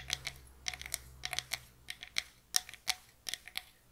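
Long nails tap and scratch a small, closed, hollow box of light pine wood, giving about fifteen quick, dry, bright clicks in an irregular rhythm like typing. Each tap stops almost instantly with no ring, with faint scratchy texture between them.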